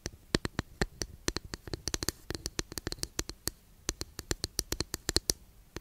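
Long nails scratch and tap along a long, flat, thin, solid wooden incense holder. About 35 short, dry, bright clicks and scrapes come in quick succession, each stopping almost instantly with no ring, over a faint low hiss.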